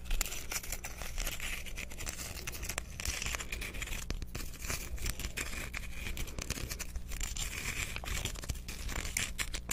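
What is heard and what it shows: Fingernails scratch and tap the faceted surface of a hand-sized, rough, translucent chunk of solid clear quartz crystal held close to the microphone. Dense, crackly scratching and quick ticking taps run steadily throughout, bright and dry, over a constant low hum.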